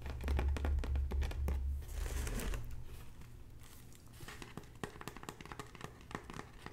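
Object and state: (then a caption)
Woven straw bag scratched and tapped. Long natural nails scratch and tap across the strips of a hollow red braided straw bag panel, making a crinkly, dry rustle. A rapid series of tapping hits runs throughout, loudest in the first two seconds with a low thump underneath, then softer scattered taps and scratches.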